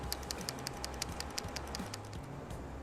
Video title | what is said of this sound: 2003 Dodge Neon PCV Valve Replacement | a working pcv valve has a rattle when you shake it like this